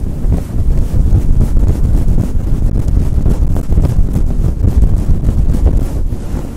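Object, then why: Synthetic fur microphone windscreen. Fingers with long nails rub quickly over a grey synthetic fur windscreen covering a microphone. The result is a loud, continuous, muffled rumbling rustle, almost entirely low in pitch, with rapid scratchy pulses and no bright content.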